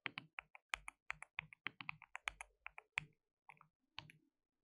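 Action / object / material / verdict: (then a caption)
tap / plastic mechanical keyboard / plastic / none. Fingertips rapidly type and tap on a white RGB-backlit compact mechanical keyboard with plastic keycaps and a hollow case. About 23 sharp, bright clicks come in quick irregular bursts, each dying away almost instantly, with a pause before the last few keystrokes.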